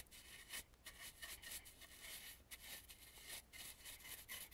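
A dry bristle brush sweeps back and forth over the carved relief at the edge of a red and gold carved, painted wooden mask. The result is a quiet, airy, high rubbing hiss in repeated strokes, with most of the energy in the upper range and little low end.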